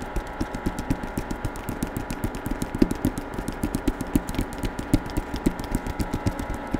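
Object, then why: Hardcover book with paper dust jacket. Fingertips tap rapidly on the covers of a solid hardcover novel with a paper dust jacket, which has a portrait on the front and text on the back, held close to the microphone. About 28 short, dull, low-pitched taps land in a steady, quick rhythm. Each tap dies away almost instantly over a faint steady hum.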